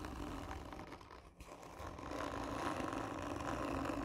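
Long nails scratch across the textured surface of a hollow cardboard tube lying on its side, making a dense, rough rasping with a hollow mid-range tone. The scratching eases briefly around the middle, then returns steadier and louder for the rest of the clip.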